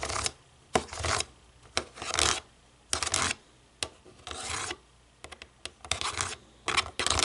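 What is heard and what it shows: Long nails scratch and rub across a black plastic TV remote, first on the button side and then on the back after it is flipped over. Short bright rasping bursts with sharp starts alternate with quiet gaps, some strokes quick and clicky, others longer and grainy.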